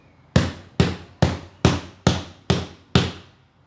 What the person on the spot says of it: o depósito ele tem um som grave